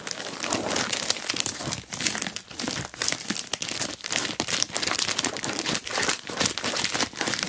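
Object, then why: Plastic mailer bag. Long black-painted nails and fingertips scratch, rub and press the crinkly surface of an orange glossy plastic Temu mailer bag lying flat with a boxed item inside. The result is dense, bright crinkling and scratching with quick crackly bursts and brief dips between strokes, and almost no low end.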